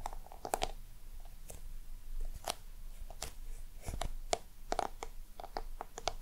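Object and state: Textured box scratched and tapped with nails.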